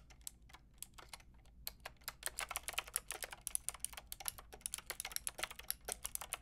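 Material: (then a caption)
Plastic. Fast typing with fingertips and long red nails on a Lofree plastic mechanical keyboard with a plastic frame and round keycaps. It makes a rapid, uneven stream of sharp, bright clicky keystrokes with almost no ring and a faint low hum beneath.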